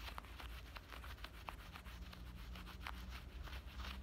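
Fingernails scratch along the front pocket opening and stitched seams of worn black denim shorts, making quiet, dry, brushy scrapes with brief bright flicks. A steady low hum sits underneath the scratching throughout.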